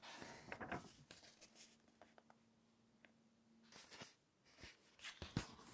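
Spread fingertips rub the pages of an open glossy-paper lifestyle magazine lying on a table, then the pages are turned. Soft, dry scratches and brushing rustles ride over a faint steady low hum. Louder bright swishes and crinkles mark the page turns near the end.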